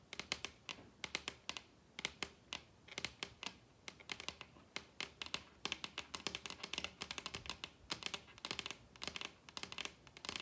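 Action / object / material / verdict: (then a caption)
tap / wooden tabletop / wood / none. Long red acrylic nails tap rapidly across the surface of a large, solid wooden dining table. The result is a fast, irregular stream of sharp, bright clicking taps in clustered bursts. Each tap dies away almost instantly, with very little low-end body.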